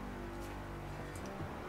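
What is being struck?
Nothing is struck.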